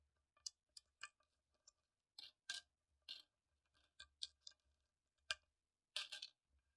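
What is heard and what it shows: A small pile of brass- and copper-coloured metal coins on a purple cloth is handled by fingertips that slide, stack and click the solid coins against each other while lining them up, with tins of coins in the background. The clip is quiet and bright, made of short, sharp metallic clicks and brief scraping slides that die away almost at once. Many separate clicks come in uneven bursts with gaps between them.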